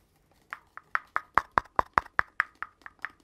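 Fingertips and nails tap and scratch along a long, hollow red cardboard mailing or poster tube with thin gold bands, held close. Thirteen quick, hollow taps land in a steady rhythm, each a short midrange knock around 1 kHz with a brief bright tick and almost no ring.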